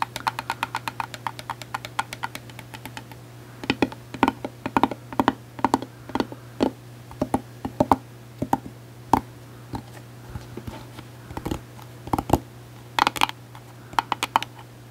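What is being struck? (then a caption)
Plastic hard-shell case. Long acrylic nails tap quickly on a closed, hollow gold glitter hard-shell case. Rapid runs of sharp, clicky taps come in bursts over a steady low hum, each tap dying away almost instantly.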